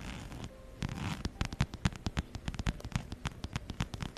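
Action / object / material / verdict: scrape / fabric and faux-leather wallet / faux leather / none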